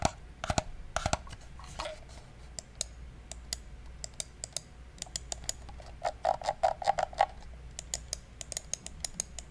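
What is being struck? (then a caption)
Plastic computer mouse. A small, hollow black plastic gaming mouse is held near the microphone while fingertips click its buttons. The result is sharp, dry plastic clicks with a hollow resonance around 800 Hz and a bright edge, mostly spaced apart but bunched into a quick flurry about two-thirds of the way through. A steady low hum sits underneath.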